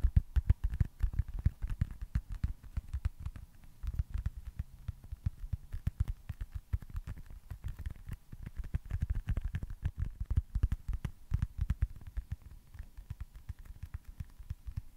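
A small, solid, smooth white foam stress ball with red baseball stitching is tapped and scratched with fingertips and nails. Rapid, uneven bursts of soft, dull, low thuds follow one another for the whole clip with no ring, broken by faint scratchy ticks.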